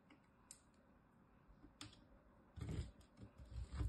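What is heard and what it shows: A small, solid bar of soap held in the fingertips is scraped up and down a metal box grater, grating off shavings. A few faint, light ticks give way to louder, dull rasping scrapes in the second half, with a low, muffled body and brief bright edges.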